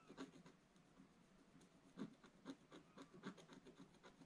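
A pointed wooden stylus scratches a black-coated scratch-art paper page in a bound book lying flat. The repeated short strokes make soft, dry scratching sounds. Brief bursts stand out against a quiet background.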